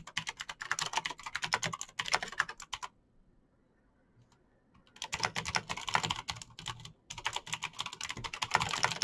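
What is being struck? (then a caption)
Plastic mechanical keyboard. Fingertips type fast on a Razer BlackWidow backlit plastic mechanical keyboard with clicky green switches, producing rapid, bright, sharp clicks with almost no ring. Dense bursts of typing break for a quiet pause of about two seconds near the middle, then resume, with a brief stop shortly before the end.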